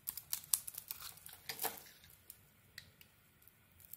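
A metal blade scrapes and shaves crumbly flakes off a solid mauve bar of soap with a cream core, held in the hand. Quiet, bright, crisp scratching ticks come in a dense, irregular flurry for the first two seconds. They then thin out to a few faint scrapes over soft hiss.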